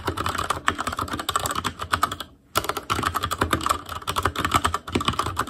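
Fingertips of both hands type rapidly on a full-size ASUS ROG Claymore Core mechanical keyboard with plastic keycaps on Cherry MX Red switches, a metal plate, a hollow case and RGB backlight. Many quick, short key clacks with a bright tone centered around 1.3 kHz run almost continuously, broken by one brief pause near the middle.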